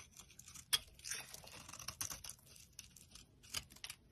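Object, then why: Bar of soap. A metal utility blade carves flakes from a solid, dry orange bar of soap held in the palm. The result is quiet, bright, crisp scraping and crackling, with a sharper scrape near the start and scattered bursts throughout.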